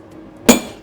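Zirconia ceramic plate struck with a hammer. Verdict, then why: Unbroken. A hammer strikes a dense, heavy zirconia ceramic plate once, producing a sharp, bright metallic clink with a ringing tone around 250 Hz that fades within a fraction of a second. The plate does not break.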